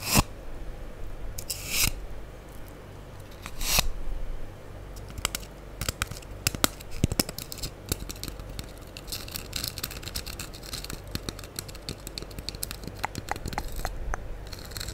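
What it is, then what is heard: Foam sponge block being scratched. A solid, light-blue porous foam sponge block held over the microphone is scratched with the long acrylic nails of both hands. The result is dense, crackly scraping and tearing-like rasps, with brief bright swishes near the start and around two and four seconds. Sharp little clicks and scratches continue steadily over a low, close rumble.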